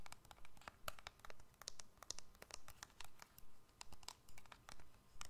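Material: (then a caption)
Plastic. A small, hollow black-and-silver keypad cell phone with a plastic and metal casing is held in both hands above the microphone and tapped and scratched with long fingernails. Quick, bright, clicky taps come in a brisk, fairly steady rhythm, mixed with soft scratching over a quiet low rumble.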